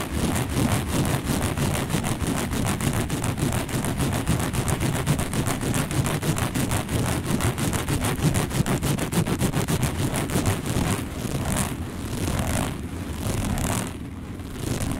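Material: Woven fiber.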